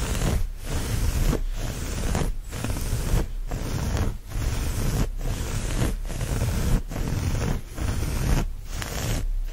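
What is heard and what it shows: Fingernails scratch and rub the looped surface of a brown chevron-pattern cotton terry towel laid flat, making a steady, soft scraping rustle. The sound is broadband and weighted toward the low end, with brief dips between the repeated strokes at roughly one per second.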